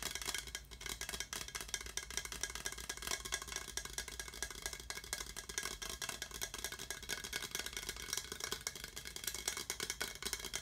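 A hollow, empty translucent skull-shaped tankard mug with a handle, most likely hard plastic and glowing orange under UV light, is held in both hands and tapped and scratched with the fingertips and nails. The result is a fast, dense, continuous stream of light clicks and scratchy rustling, mostly bright and high with very little low end. The taps are short and dry, with almost no ring.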